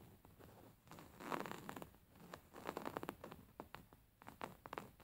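Fingernails scratch along the embroidered lines of a stuffed, beige embroidered linen pillow with stitched fabric. The result is a quiet run of quick, dry, zipper-like rasps in uneven bursts, mostly midrange with little low end and short, dead decays.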